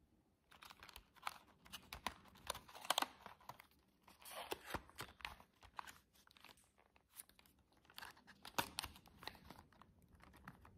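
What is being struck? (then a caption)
Cardboard box with clear plastic window. Long jeweled nails tap quickly on the side and front of a flat silver cardboard box with a clear plastic window. The taps come as quiet, dry, crisp clicks and crinkly rustles in uneven bursts, bright and short with no ring after each one.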